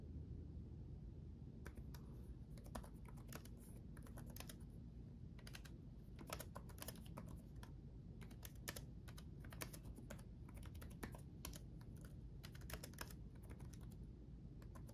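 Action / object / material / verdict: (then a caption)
tap / plastic laptop keyboard / plastic / none. Both hands type rapidly with their fingertips on the backlit chiclet keyboard of a black laptop, with plastic keycaps on a solid chassis. Bursts of quick, light, bright key clicks come in uneven clusters over a steady low hum that fills the background for the full clip.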